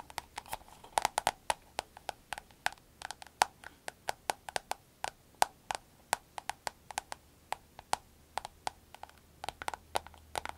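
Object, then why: Vinyl glasses case. A soft, glossy green vinyl glasses case is held in the hand while long acrylic nails tap and scratch across it. Around forty quick, dry clicks come in an irregular patter, each with a hollow knock near 820 Hz and a bright edge that dies away almost at once. The taps fall over a faint, steady low hum.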